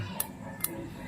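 The metal camshaft of a Honda Wave 125i, cleaned and oiled, is inserted and moved so that its compression release (decompressor) mechanism clicks. Two short, bright metallic clicks are heard over a low background rumble. The clicking shows that the compression release is working.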